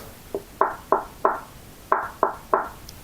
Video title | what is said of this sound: Edifier M60 vs Kanto Ora - which is the best mini desktop speaker? | you knock on that and it sounds solid